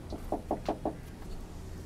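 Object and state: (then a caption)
Forged carbon composite spoiler knocked. Five quick knocks on the forged composite rear spoiler of a Lamborghini Huracan Performante. Each knock is a short, dull, hollow tap with a mid-low pitch and almost no ring. The knocks are evenly spaced and stand just above a low background rumble.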